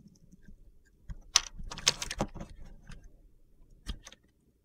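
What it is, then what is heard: Bar soap being cut. A utility knife carves flakes and small cubes off a solid cream-white bar of soap held in the hand. Crisp, dry, crunchy scraping and cutting strokes come in bright, short bursts, busiest in the middle of the clip, with a couple of final cuts near the end.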